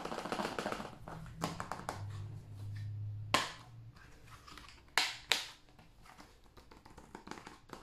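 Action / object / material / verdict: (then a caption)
tap / plastic video game case / plastic / none. Fingertips tap sparsely on the cover and edge of a hand-sized, hollow blue plastic PS5 game case. The taps are short, bright clicks with almost no ring, mixed with softer rustling contact, and a few stand out sharply louder. A faint low hum runs underneath for a couple of seconds.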